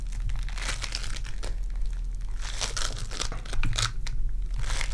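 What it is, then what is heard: Foam bead clay being squished. Purple foam-bead clay is pinched, torn and squished in hands with long dark nails. A steady stream of bright, crinkly crackling and squishing rises and falls over a constant low hum.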